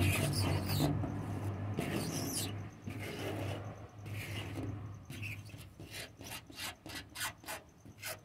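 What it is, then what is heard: Wooden door, scratched. A wooden door is scratched and tapped: a continuous rasping, rubbing scrape with a low hum fills the first half. It then gives way to a run of short, separated bursts, about six distinct strokes toward the end.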